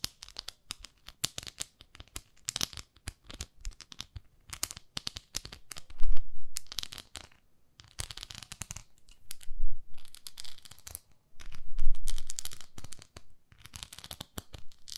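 Long nails scratch across the nubbed surface of a palm-sized beige textured silicone facial cleansing pad. Irregular bursts of crisp, bright scratching and crackly clicks are heard, rising into louder, fuller rubbing swells before dropping back to sparse ticks.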